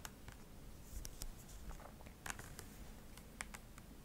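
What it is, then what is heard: Plastic cosmetic tube. Long acrylic nails tap and scratch a white, hand-sized plastic cream tube, hollow and likely filled, held in the hand. Quiet, sharp, bright clicks and taps die out almost instantly, with soft scratchy rustling between them over a low background hum.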